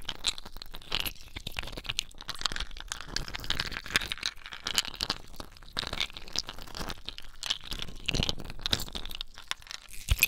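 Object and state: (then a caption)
Ice cubes. Several clear, solid ice cubes held in wet bare hands above a basin of water are squeezed, rubbed and clinked together with the fingers. The result is a dense, continuous run of bright crunching, crackling and crinkling clicks with short sharp knocks and a wet squelching undertone.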